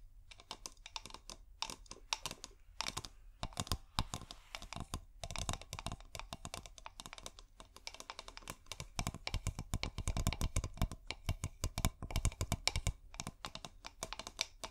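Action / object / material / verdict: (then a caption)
tap / small glass bottle with cork and light wire inside / glass / none. A small, clear, bulb-shaped glass bottle with a cork, hollow and filled with LED fairy-light wire, is held upside down and tapped and scratched with long painted nails. The result is a dense stream of sharp, bright clicks and taps, each dying away almost at once, with scratchy rustles between them and a low rumble underneath.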